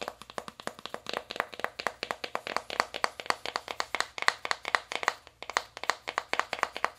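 An open navy cardboard eyeshadow palette with five pans has its inner lid tapped rapidly with long acrylic nails. The result is a quick, dense run of sharp, dry clicks with a bright edge and almost no ring after each hit.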